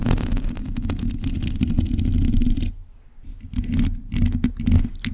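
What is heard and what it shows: Long pointed acrylic nails scratch across a black metal mesh microphone grille, making a dense, continuous rasping scrape with a heavy low rumble underneath. The scratching stops briefly just before the three-second mark, then resumes in a few quick bursts.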